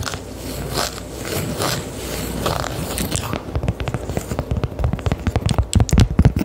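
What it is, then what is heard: Cork coaster. A round, flat, solid cork coaster held close to the mic is scratched and then tapped with long decorated acrylic nails. The first half is a steady, soft scratching rustle, and the second half turns into quick, dull, low-pitched taps that grow louder toward the end.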